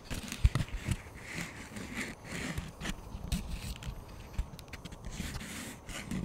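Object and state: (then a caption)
Plastic frisbee disc. Fingertips and nails tap and scratch the surface of a thin yellow-green plastic frisbee disc with a hollow underside, held over the microphone. Soft, hollow low thumps mix with a steady, crackly scraping texture and brief bright scratchy bursts, with the taps dying away almost at once.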